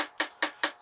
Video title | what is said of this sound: Jims Allotment Plot 9 October Tour Part 3 | if you tap it like that you should get that sound if you you don't get that sound it's not dry enough